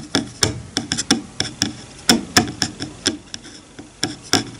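Fingertips run across and flick the teeth of a wide-toothed bamboo hair comb lying flat on a bamboo cutting board. About fifteen irregular, sharp, bright clicks with very short decay ring out over a faint scratching hiss.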